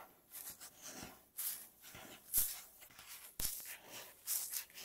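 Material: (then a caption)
Wood. Long natural fingernails on both hands tap and scratch a flat, solid, light-coloured wooden tabletop. Quiet, bright scratching strokes mix with sharp, short taps at an irregular pace.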